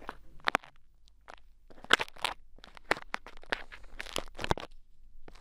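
Pink bead play foam packed into the ear of a mannequin head microphone is poked and scraped with two thin wooden sticks. It makes crisp, crackling crunches and sharp little pops in an irregular, quick series, each dying away at once against a faint low hum.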